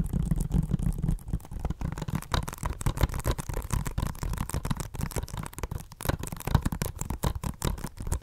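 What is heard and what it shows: Long nails tap rapidly on the cover of a hollow plastic Blu-ray case of *Inglourious Basterds* held upright. The result is a continuous flurry of short, dry clicks with no ring. Most of the energy is a deep, hollow thump in the low range, with faint bright ticks on top.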